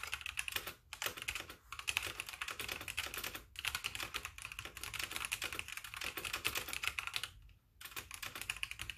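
A full-size backlit mechanical keyboard with white plastic keycaps is typed on rapidly with both hands, giving a dense stream of bright, clicky keystrokes with brief pauses between bursts. The clacks are sharp and short, with little low end.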